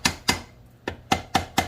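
A dead blow hammer, used instead of a ball peen because the cover breaks easily, taps six times on the primary cover of a Honda 420/500/520 engine during a primary gear reduction install, to break the seal so the cover comes loose. Each tap is a short, sharp knock that dies away almost at once, with a faint tone around 770 Hz on the later hits. The seal has already broken loose.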